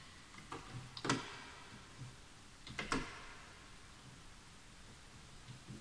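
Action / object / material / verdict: tap / bamboo wood computer keyboard / bamboo wood / none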